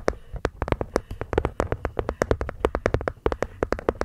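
A wooden box is gently tapped with the fingers in a quick, uneven run of about thirty soft knocks. Each tap is short and dry, with a hollow mid-range tone over a low thump and almost no bright edge. The knocks die away almost instantly.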